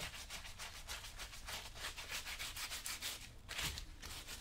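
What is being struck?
Leather work boot rubbed with a cloth.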